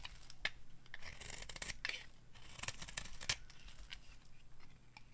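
A metal blade scrapes across a hand-sized, solid yellowish dry bar of soap held in the palm, shaving off strips. The sound is a series of crisp, dry scraping strokes with bright, high rasps, some sharper cuts standing out, over a faint steady low hum.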